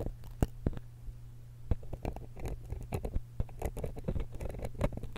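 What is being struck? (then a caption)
Metal stereo microphone capsule and steel pick. A steel dental pick scratches and pokes the capsule end of a small silver X/Y stereo microphone held in one hand. Sharp, dry clicks and scratchy patter come through as close, bass-heavy thumps over a steady low hum, with each tap stopping almost instantly.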